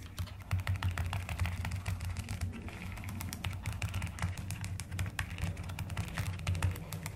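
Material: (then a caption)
Plastic. Fast typing with fingertips and long nails on a mechanical keyboard with rounded pastel plastic keycaps, producing a steady stream of dense, overlapping key clicks. The clacks are muffled and deep, with a low hum underneath and bright ticks on top.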